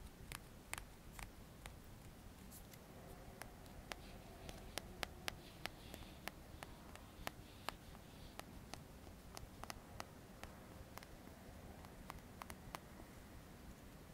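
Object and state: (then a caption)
Plastic comb. A dark, solid plastic hair comb with fine teeth has its teeth strummed and flicked with the fingertips and nails. It makes a quiet, irregular series of sharp, dry clicks and ticks that sound bright and stop instantly, over a faint low background rumble throughout.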